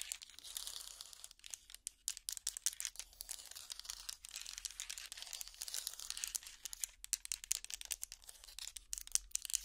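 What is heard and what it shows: Long plastic finger picks scratch across a hot pad trivet made of small solid wooden blocks linked together, held up in the air. The result is a dense, bright, dry crackle of rapid scratches and tiny clicks with almost no low end, each one dying away instantly.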